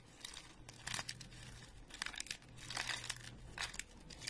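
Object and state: Dry soap flakes crushed.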